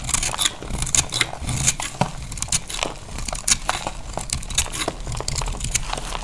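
A solid, dry beige soap bar held in the hand is shaved with a utility knife blade into crunchy flakes. A rapid run of dry, scraping crunches and crackles with bright, crisp edges sounds over a low, soft rumble.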